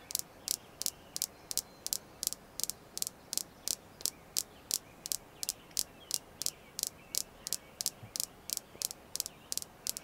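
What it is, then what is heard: Red jasper stone being tapped. A red jasper crystal stone is tapped continuously in a steady rhythm, about 30 sharp, bright clicks with almost no ring. The clicks sit high in the treble over a faint background hiss.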